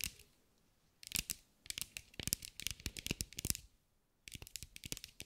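A green mirror-glass mosaic sphere held in the hands is tapped and scratched with long acrylic nails. Quick, bright clicks and scratchy ticks come in dense bursts separated by short quiet gaps. Each hit is short and dry, with almost no ring.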